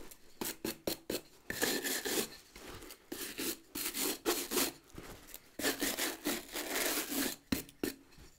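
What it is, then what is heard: Leather boot brushed with a bristle brush. A wooden-backed bristle brush scrubs the rubber sole and leather upper of a hollow, empty brown leather boot. Quick, short strokes give way to longer sweeping passes, making a dry, bright, scratchy rasp with a faint low body.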